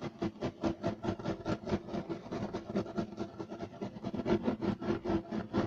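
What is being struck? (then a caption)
Woven loop-pile carpet. Short nails of both hands scratch fast and aggressively across a flat, solid, beige striped woven loop-pile carpet. The result is a rapid, somewhat uneven run of dry rasping strokes, about two per second, each a brief broadband scrape with a low-mid tone and no ring.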